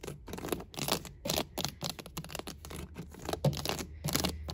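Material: Plastic.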